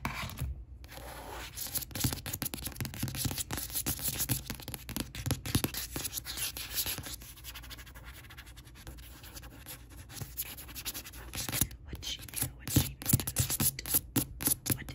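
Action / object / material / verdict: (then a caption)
scrape / glossy card book cover / card / none. Long acrylic nails scratch and tap across the glossy card front cover of a paperback novel, "What She Knew," lying flat. Dense, bright scratching runs over a low thumping body, easing to a quieter, softer rubbing stretch in the middle before sharper, louder taps and scrapes build again toward the end.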